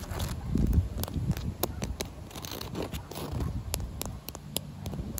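Short white nails tap and scratch across a solid, damp outdoor concrete pavement slab with cracks and joints. Irregular sharp clicks with bright, brief edges sit over a low, rough scraping texture, and the taps die away almost instantly.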